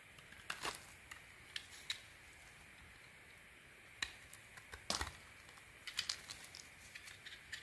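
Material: Soap.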